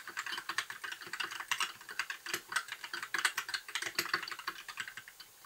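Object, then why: Plastic mechanical keyboard. Fingertips of both hands type continuously on a compact white mechanical keyboard with backlit plastic keycaps. The result is a fast, uneven stream of sharp, bright plastic clicks and clacks with very short decay and almost no low end.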